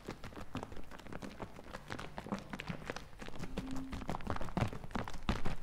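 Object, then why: Plastic bottle partly filled with liquid. A medium plastic bottle partly full of green liquid is shaken in the hands close to the mic. The liquid sloshes inside in a run of dense, irregular, low thuds and splashes, growing somewhat louder toward the end.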